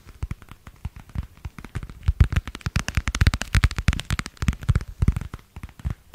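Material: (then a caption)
Vinyl plastic. A thin, flexible, pale blue translucent vinyl plastic cover with a stitched edge is tapped and crinkled with fingertips and nails. The result is a rapid, uneven stream of short, dry taps with soft low thumps and faint bright crinkle. The taps grow louder and denser after the first two seconds.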